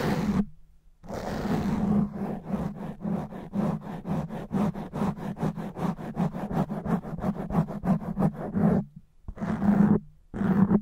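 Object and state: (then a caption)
Foam microphone windscreen being scratched. Fingernails on one hand scratch and rake fast and roughly across a black foam microphone windscreen. Dense, crackling scrapes open the clip, then give way to a rapid, rhythmic train of short scratching strokes over a steady low droning rumble. Longer rough rakes return near the end, separated by brief silences.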